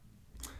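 A single knock on a hollow-sounding section of wall in a rental house gives a dull, low thud. It has a short boomy resonance and a brief burst of high-frequency noise, heard over a quiet background.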